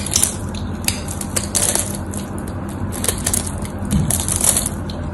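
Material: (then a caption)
Soap. A knife blade carves cubes off the face and edge of a solid white bar of soap held in the hands. Crisp, bright crunching and scraping crackles come in bursts over a steady low hum.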